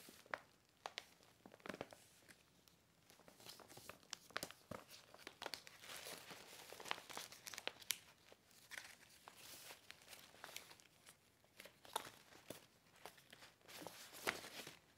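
A medium cream paper gift bag with a fern-leaf print, hollow and empty, is held up, then flattened and rubbed with fingertips and nails. Bright crinkling and crackling paper sounds come in dense, irregular bursts of sharp clicks and rustles, with almost no low end, at a quiet level throughout.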